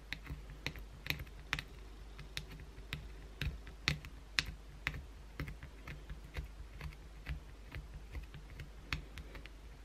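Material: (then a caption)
Soap. Long blue acrylic nails scratch a solid white bar of soap held in one hand, using sparse strokes. About eighteen sharp, bright scratching clicks come at an irregular pace of roughly two per second, each dying away almost instantly over a steady low hum.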